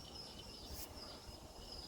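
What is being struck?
Nothing is struck.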